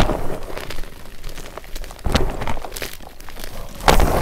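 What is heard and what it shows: Fingers squeeze and crush a heap of broken white MagKing magnesium carbonate gym chalk chunks and powder in a glass bowl, and a remaining block is broken by hand. The result is a steady, dense run of dry crunching and crackling with a deep, low-heavy body, and louder snapping crunches stand out near 2.1 and 3.9 seconds.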